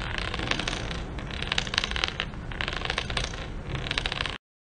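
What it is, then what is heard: Ceramic floor tiles. A spring-neck inspection rod with a metal ball head is dragged across a textured ceramic tile floor outdoors, rolling and tapping over the tile joints with small bounces. A steady gritty rolling rattle is studded with quick, bright clicks, and it cuts off abruptly near the end.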